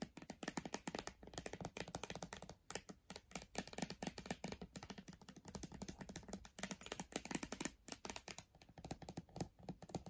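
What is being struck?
Laptop glass display in aluminum frame.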